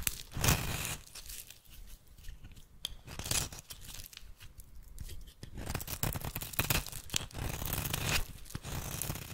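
A metal blade shaves flakes off the end of a solid oval bar of rancid red soap held in the hand. Dry, crunchy scraping and tearing strokes come in repeated bright, hissy bursts over a low rumble, with the strongest strokes near the start and a denser run in the second half.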